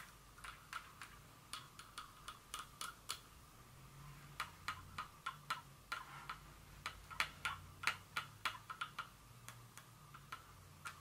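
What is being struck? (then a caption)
Small glass perfume bottle with metal top. Long fingernails tap a small glass Dior perfume bottle with a metal top, giving about thirty sharp, bright clicks at an uneven pace. Each tap dies away almost at once over a faint low hum.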